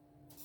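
Granulated sugar rubbed by hand into grated lemon zest gives a soft, gritty crackling rub that brightens and grows louder toward the end. The crackle means the sugar grains are still undissolved, and the rubbing continues until it is gone.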